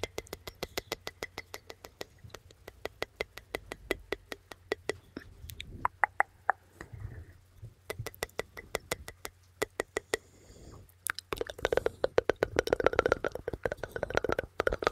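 Long red acrylic nails tap and scratch across the hollow metal mesh grille of a black condenser microphone held in both hands. Rapid, sharp, dry clicks come in steady trains with almost no ring, set over a faint low hum. Near the end they give way to a denser, scratchier burst of rustling taps.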